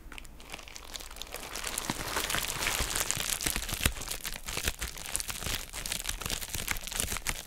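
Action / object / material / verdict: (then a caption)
scrape / plastic bubble wrap mailer bag / plastic / none. A hand-sized, hollow and empty pink heart-shaped plastic bubble wrap mailer bag is held, squeezed and crinkled while long nails scratch and tap it. The result is a dense, continuous stream of bright crinkling and crunching with quick, sharp, dry taps and scratches scattered irregularly throughout.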